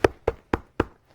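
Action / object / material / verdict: knock / reinforced base board of a fabric storage bag / board / rigid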